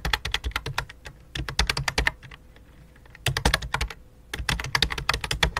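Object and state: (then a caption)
Plastic computer keyboard being typed on. Both hands type rapidly on a full-size white and light-blue plastic computer keyboard resting on black cloth, striking the keys with fingertips and long dark nails. Dense bursts of sharp, bright clicky taps with a low thud under each keystroke pause briefly twice before the typing resumes.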